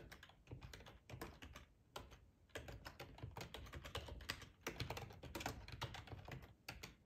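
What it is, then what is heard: Plastic computer keyboard. Fingertips of both hands type on a full-size black plastic ergonomic split keyboard resting on a cloth tablecloth. Fast bursts of soft, clicky keystrokes with a low thump are broken by short pauses, then resume.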